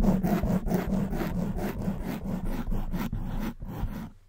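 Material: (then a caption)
Foam. Long white nails scratch the soft black foam windscreen on a silver condenser microphone. The result is a dense, muffled rasping in quick, uneven strokes, heavy in low rumble with a bright airy hiss on top. It keeps a steady level before thinning out and fading at the end.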